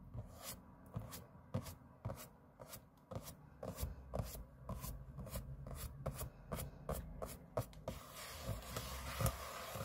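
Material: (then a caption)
Aluminium. Fingernails scratch the aluminium lid of a closed space-grey MacBook lying flat on a table, making sixteen quick, dry strokes, each a short bright rasp over a low, steady rumble. In the last two seconds the strokes blur into a continuous hissy scrape.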